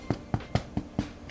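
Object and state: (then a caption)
Baked-through sourdough loaf (hollow knock). Five quick, low, hollow knocks on the bottom of a freshly baked sourdough loaf, checking that it is baked through; each thud is dull and dies away almost at once. The loaf sounds hollow and is judged done, and a brief, higher-pitched rustle follows the last knock.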